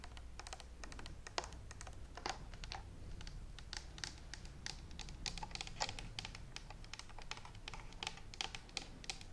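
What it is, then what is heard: Plastic steam iron. A handheld green and white plastic steam iron with a hollow body and water tank is tapped with long nails on its shell and handle. Rapid, irregular, dry clicky taps with bright, hollow-sounding edges come over a steady low rumble, each tick dying out almost instantly.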